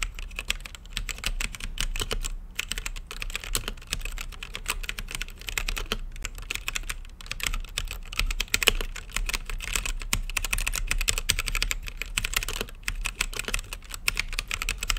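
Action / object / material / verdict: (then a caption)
tap / mechanical keyboard with plastic keycaps / plastic / none. Fingertips type rapidly on a mechanical keyboard with plastic keycaps and a clear acrylic lit case. A dense, continuous stream of sharp, bright key clacks, each dying away almost instantly, rolls on for the whole clip over a faint low hum.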